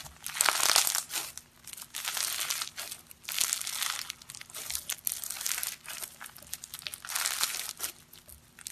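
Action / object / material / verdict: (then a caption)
scrape / slime packed with small polystyrene foam beads / foam beads / none. Purple slime packed with small polystyrene foam beads (floam) is squeezed, folded and crunched between bare fingers and palms on a grey surface. Bright, dense crinkling and crackling comes in repeated swelling bursts with quieter gaps between them.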